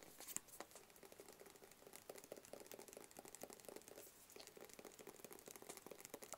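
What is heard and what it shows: A flat black cardboard gift box with printed text is tapped rapidly with long fingernails. The result is a quiet, steady stream of light, crisp clicks, each with a soft hollow midrange knock and a bright, dry tick that dies away almost instantly.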